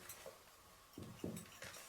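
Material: Particleboard.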